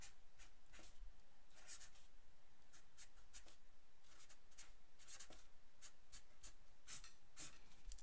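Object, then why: Paper sheet written on with a felt-tip pen. A black felt-tip pen writes on a thin white paper sheet lying flat on a wooden table while the other hand steadies the sheet. Quiet, bright, scratchy strokes come in quick, uneven bursts over a faint low hum.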